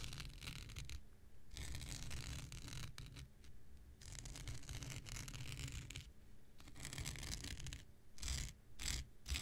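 An X-Acto knife blade scratches and drags across the fibers of a thin, blue, hand-sized non-woven synthetic scouring pad held in the hand. Bursts of bright, raspy scratching alternate with brief quieter pauses over a steady low rumble, and the strokes grow shorter and quicker near the end.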